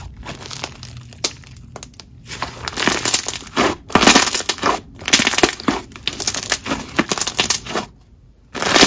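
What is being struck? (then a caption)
Jelly slime. Green jelly slime is stretched into a long band and squeezed in both fists, giving a crushing squish. Wet, crackly squelching bursts come in irregular waves, bright and crisp with little low end. They fall quiet briefly near the end before a final squeeze.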